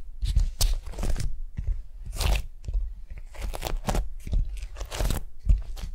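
Fingertips and long nails scratch and rub across a large, flat beeswax-coated cotton food wrap spread on a mat on a table. The result is a series of dry, crunchy crinkling and scraping bursts, bright at the top with a soft low thump beneath each stroke, separated by brief quiet gaps.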